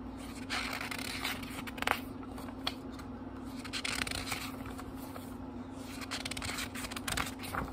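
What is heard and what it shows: Fingertips flip through groups of thin paper pages in a small, thick book, making soft, bright papery rustles and crisp flicks. Quiet riffling sweeps are broken by a few sharper snaps as pages fall. A steady low hum runs underneath throughout.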